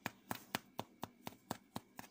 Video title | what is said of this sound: #53 Is John Faster than FIVE Hungry Goats - Jalapeno Cheddar Bread | it sounds hollow because of the moisture with the jalapenos on this loaf